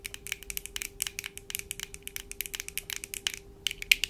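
Long painted acrylic nails on both hands tap quickly on the lenses and frames of black plastic-framed eyeglasses worn on the face. A rapid, uneven stream of sharp, bright, dry clicks with no ring plays over a faint steady hum, pausing briefly near the end before a few louder taps.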